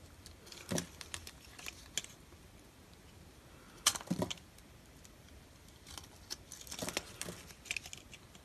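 A utility knife blade scrapes and carves crumbly shavings off a solid, palm-sized orange bar of dry soap held in the hand. Short, dry, crackly scrapes and crunches come in irregular bursts with bright, gritty high end and almost no ring, separated by quiet pauses.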